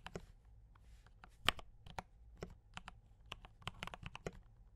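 Both hands type on a D84 mechanical keyboard with brown switches and cream and red plastic keycaps, tapping the keys with the fingertips. The result is a quick series of short, bright clacks with very little ring, over a faint low hum.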